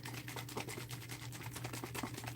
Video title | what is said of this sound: Berries and Mint | It's very liquidy as you can hear